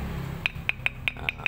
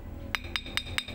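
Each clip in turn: First: softer stone, jasper or marble-calcite type. Second: hard, solid iron jasper stone.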